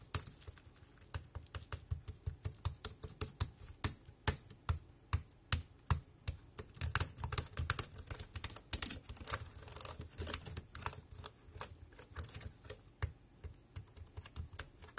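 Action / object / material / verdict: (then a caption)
tap / plastic wireless keyboard / plastic / none. Fingertips type on a compact dark grey plastic Bluetooth keyboard with round keys and a hollow body, resting on a black plastic bag. Dozens of quick, irregular keystrokes each give a dull low thump and a bright, short click that dies away almost instantly. The result is a steady, uneven stream of clattery typing.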